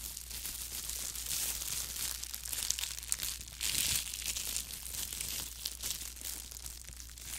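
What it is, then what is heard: Plastic disposable glove crinkling. Gloved fingers in thin, clear plastic film disposable gloves crumple and rub the loose plastic close to the microphone. The result is a continuous, bright crinkling and rustling with quick sharp crackles, plus a steady low hum underneath.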